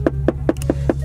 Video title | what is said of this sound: 5 things "I" dont like about my BMW F30 | if you knock on it you can hear the plastic